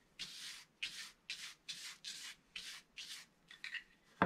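A wooden stylus scrapes the black coating off a flat, solid scratch-art mandala page, roughly A4 and from a book, revealing colour underneath, while a flat palm and fingertips rub and sweep away the flakes. It makes a steady series of short, dry, bright scratching and rubbing strokes separated by brief pauses, and it ends with a sharper, louder tap.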